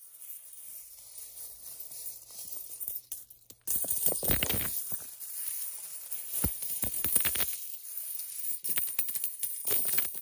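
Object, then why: Pile of small metal coins on carpet. A large pile of mixed small solid metal coins, copper-colored and silver-colored, lies spread on a gray carpet while children's hands and fingertips scoop, sift and let them fall back onto the pile. Soft, sparse clinking for the first few seconds gives way to louder, dense bursts of bright metallic clinks and rattles as the coins tumble against each other. A faint, steady high tone runs underneath throughout.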